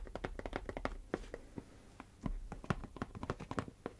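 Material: Cardboard.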